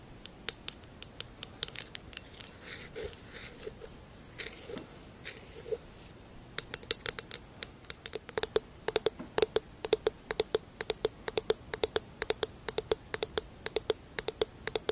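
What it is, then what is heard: Glass vase. Long acrylic nails tap and scratch the base and rim of a hollow amber textured glass vase held in the hands. Sharp, bright clicks come in an irregular stream, with soft scratchy rubbing in the first six seconds. From about 6.5 seconds the taps turn dense and steady, each one short and dry with almost no ring.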